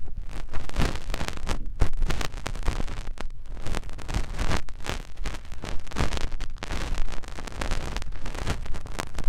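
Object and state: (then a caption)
Silicone ear being rubbed. A finger rubs inside the ear canal of a soft silicone ear on a white binaural microphone. The result is a continuous deep, muffled rubbing and scraping, almost all low rumble with a faint brighter rustle on top, swelling and fading as the finger moves.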